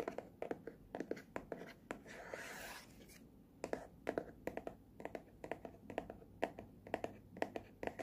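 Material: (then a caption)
Cardboard. Fingertips and nails tap and scratch the front and blue side edge of a small, hollow, printed cardboard headphone box. Quick, dry, hollow-sounding taps with a mid-range knock around 680 Hz come in uneven bursts, broken near the start by a brief, bright, hissy scratch.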